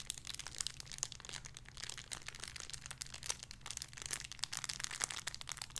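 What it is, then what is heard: Crinkly plastic bag with a soft toy. A small clear crinkly plastic bag holding a soft pink squishy toy is held in both hands and crinkled and squeezed with the fingertips and long red-painted nails. Dense, bright crackles and crinkles burst continuously with quick sharp peaks over a faint steady low hum.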